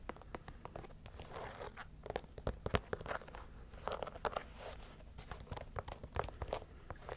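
A single white leather Adidas Samba shoe with black stripes and a gum rubber sole, hollow and empty, is held by hand close to the mic while long nails scratch and tap its leather upper. Soft, crinkly scratching runs throughout, broken by many short, sharp taps over a low hum.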